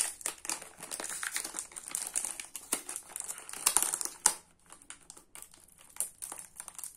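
Fingertips and nails peel and crinkle the thin blue printed foil/paper wrapper of a small rectangular Nivea soap multipack, full of solid soap bars, while other unwrapped soap bars lie still on a wooden table. A steady stream of dry, bright crinkles and quick crackles runs throughout, with a few sharper snaps near the middle before it thins into softer, sparser rustles.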